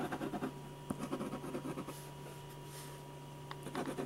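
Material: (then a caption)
Paper. A silver ballpoint pen scratches repeated back-and-forth hatching strokes across the neck and face of a portrait on a large white paper sheet resting on a drawing board. Quick, dry scratching bursts come in rapid clusters, with a brief pause in the middle. A steady low hum runs underneath throughout.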